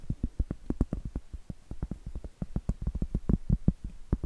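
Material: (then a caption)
Cork. A large, round, solid cork board held upright is tapped and scratched with long acrylic nails. A rapid, uneven run of short, dull, low knocks follows, each dying away almost at once, with faint soft scratching between them.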